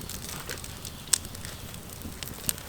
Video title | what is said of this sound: Je fais du pain sur mon camp bushcraft Ep03 (cuisine au feu de bois, construction d'une cabane) | Là on entend la croûte qui craque.